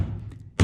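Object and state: Solid, damped car roof panel.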